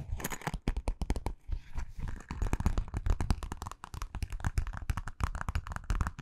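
A small, hollow, purple metallic vinyl zippered pouch is held near the microphone and scratched and tapped with long nails and fingertips. A rapid, steady stream of crinkly scratches and soft, dull taps follows, heavy in low thump with only faint brightness. Each sound stops almost instantly.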